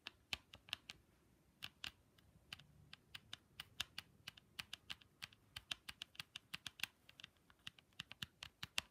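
Long pink stiletto nails tap the curved mirrored plastic lens of a pair of ski goggles, with the frame visible. About 39 quiet, sharp, bright clicks come in a quick, irregular rhythm, each dying out almost instantly, with little low-end body.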